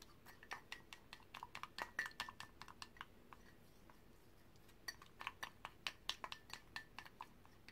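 A brush is stirred through green paint inside a white ceramic mug held by its handle, clinking against the ceramic walls. Quick, bright clinks ring near 3 kHz and die away almost at once, coming in two bursts separated by a quiet pause of about a second and a half.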